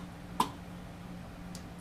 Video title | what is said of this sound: Auction Find Yamaha VR5000. Trash or Treasure? Let's fix it up. | the reverb maxed out, I'm banging on it, and it's not doing anything